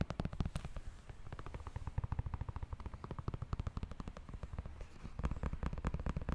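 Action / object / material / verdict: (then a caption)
tap / sneaker with foam and rubber sole and synthetic mesh upper / foam, rubber / none. A galaxy-print Nike React Presto running shoe, hollow and empty, is held in hands while fingertips and nails rapidly tap and scratch its thick white and orange foam sole with rubber outsole and its synthetic mesh upper. The result is a fast, continuous stream of dull, low, bassy thuds that stop dead with no ring, growing louder near the end.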